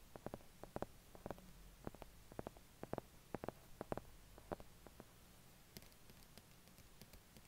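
Fingertips tap the cover and edges of a solid, closed medium hardcover book with paper pages, a cardboard cover, a peacock-feather print and a price sticker, as it rests on and is held above a white duvet, with wired earphones lying nearby as the mic. Quick, irregular, dull knocks with very short decay come in close clusters over a soft low hiss. In the last couple of seconds they give way to fainter, brighter ticks.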